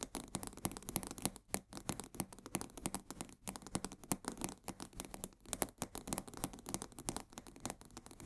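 A full 1 kg cardboard box of coarse salt is held upright in both hands while fingernails scratch rapidly along its sides. The sound is a quick, continuous stream of dry, papery scratches and clicks with bright edges and almost no ring, steady and fairly quiet throughout.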